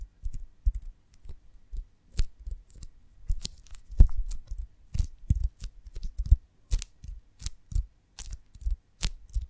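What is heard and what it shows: Long nails tap and scratch the textured wax surface of a whole, hand-sized oval honeycomb filled with honey, held in both hands with a stick through its top. The result is an irregular series of soft, dull taps, low and thumping, with short bright clicking and scratching edges and very little ring.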